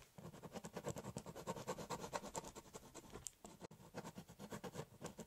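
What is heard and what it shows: A biro tip scribbles and hatches lines across the surface of a large, hollow corrugated cardboard box. It makes a steady, rhythmic scratching of quick back-and-forth strokes with a bright, papery edge and a faint hollow body. There is a brief pause just before the four-second mark, then the hatching resumes.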